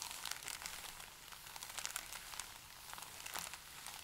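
Both hands rub and press a stack of thin, pale paper sheets flat with fingertips and palms, crinkling them. The result is a quiet, continuous bright crackle and rustle, with sharper crinkles popping out now and then and almost nothing in the low end.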